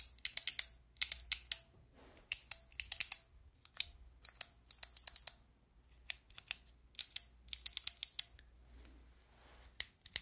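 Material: Plastic.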